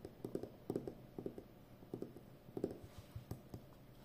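Long painted nails tap and scratch the outer edge and surface of a full roll of brown plastic packing tape on a cardboard core, about 5 cm wide and hollow in the center, held upright. About fourteen short, dry taps come in uneven clusters, each with a hollow mid-low knock near 390 Hz that dies almost instantly, and faint scratching fills the gaps. The sound is quiet and close, with no bright ring.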